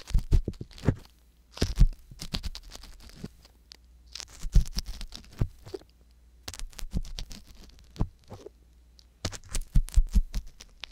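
An ear pick scratches and pokes inside the canal of a right silicone ear on a binaural microphone, making close, dull scratching and tapping sounds in bursts with short pauses between them. The sound is mostly low and muffled, with a steady low hum underneath and brief bright crackles.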